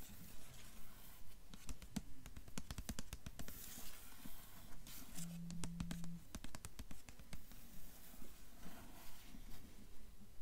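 Long acrylic nails tap and scratch the cover of a medium hardcover novel in a dark glossy paper dust jacket, held upright and solid on a table. Quiet, dry taps with almost no ring fall in a steady, fairly regular rhythm of about two per second, with soft papery scratching between them.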